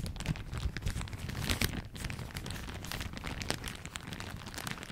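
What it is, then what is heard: Plastic shower cap being crumpled. A thin floral plastic shower cap is balled up in one hand beside the mic and crumpled and crinkled with the fingers. The result is a dense, continuous crinkling, with bright snapping crackles and sharp short spikes over a steady low rumble of handling noise.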